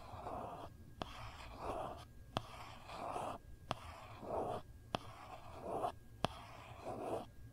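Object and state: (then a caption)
Plastic phone case. A phone in a hard plastic case with a gold foil print, held flat, as a long nail slowly traces and scratches the pattern. Soft, breathy scratching swells in the midrange alternate with five sharp, bright clicks of the nail tapping the case, each dying out almost instantly.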